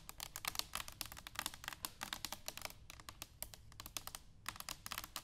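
Long pink nails rapidly tap and scratch an upright, hollow, medium-sized brushed stainless steel cylindrical canister standing on a wooden table. The result is a quick, steady stream of crisp, bright clicks and scrapes with very short ring, riding over a faint low rumble.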